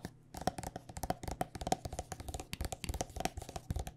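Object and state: Plastic lotion tube tapped with nails.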